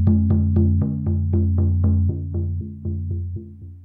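A Remo Buffalo frame drum, a large hollow drum with a black synthetic head held upright, is struck with a felt-tipped wooden mallet in a quick, steady series of beats. Each strike gives a soft attack and a deep, booming low tone that rings on beneath the next hit, and the strikes grow gradually quieter toward the end.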